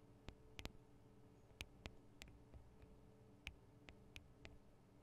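Long nails tap on the sides of the small metal microphone capsules of a Tascam DR-40 recorder. Sharp, bright clicks sound at irregular intervals and die away almost instantly, over a quiet, steady low hum.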